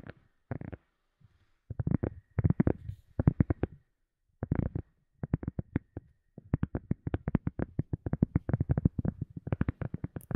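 A silicone cup lid is tapped with quick, soft taps in uneven bursts and short pauses, with no talking. The taps are dull, muffled thuds, mostly low around 140 Hz with little brightness, and each dies away almost instantly.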